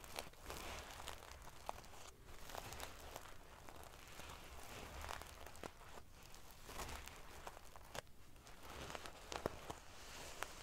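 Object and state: Metal sequin pillow.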